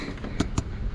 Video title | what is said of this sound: PLUMBING COULD BE EASY, but it's always just out of reach | that vessel's full you can hear it when you tap on it